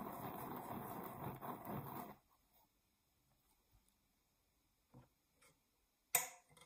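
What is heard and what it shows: A round, thin, solid cork coaster held in the hands has its surface scratched with long nails, making a dense, broadband scratching rasp for about two seconds. Near-silence follows, broken by a few soft faint scuffs and one sharper, brighter scrape near the end.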